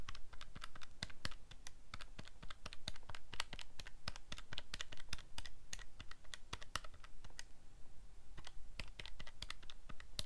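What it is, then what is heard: Plastic calculator buttons. Fingertips rapidly press the plastic buttons on a calculator keypad, producing a fast, uneven stream of short, sharp, bright clicks. A steady low hum sits underneath the tapping throughout.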